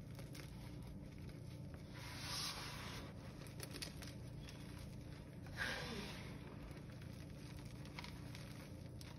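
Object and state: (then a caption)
Crushed gym chalk. Bare hands scoop, squeeze and crush chunks of blue gym chalk from a pile of chunks and fine powder, rubbing them into powder. Quiet, dry crackling and crumbling runs over a steady low rumble, with two brighter, crunchier bursts as the chunks give way.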